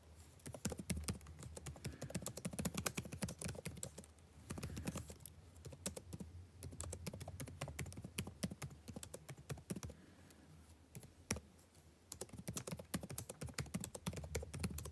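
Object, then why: Plastic laptop keyboard. Fingertips type continuously on the blue-backlit plastic keycaps of a dark laptop keyboard. Rapid, short, crisp clicks and taps run with a low thump under them, easing briefly around four seconds and going quieter from about ten to twelve seconds before the fast typing picks back up.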